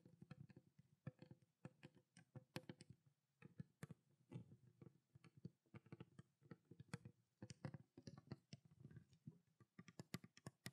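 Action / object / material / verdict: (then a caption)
tap / plastic water bottle with water / plastic / none. Long black nails tap quickly and irregularly on the body and blue plastic cap of a small clear plastic water bottle containing water. The taps are quiet, short clicks with a dull low knock and brief bright ticks, dying away almost at once.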